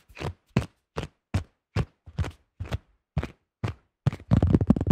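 Fingertips of both hands tap fast on a thin-shelled yellow plastic disc golf disc with a blue stamp. Nine separate, dull, hollow taps with almost no ring give way to a quicker, denser flurry of taps at the end.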